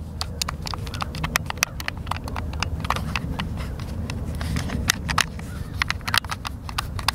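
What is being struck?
Plastic game controller.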